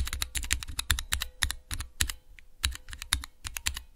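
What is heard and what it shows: Rapid fingertip presses on a small clear plastic Cherry MX keycap switch tester produce a dense run of sharp clicky taps. Each tap is brief and bright with a low thock underneath. A faint steady hum sits beneath the keystrokes, which pause briefly near the middle before resuming.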